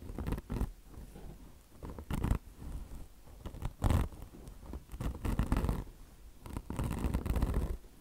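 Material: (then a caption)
Mesh and foam. Long blue nails scratch the mesh cover of a car wash sponge that has a soft foam body and a microfiber fringe. The sound is a rough, low scratching in uneven bursts, with several louder swipes standing out among softer rustling strokes.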